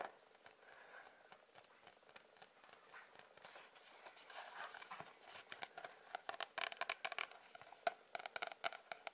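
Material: Cardboard.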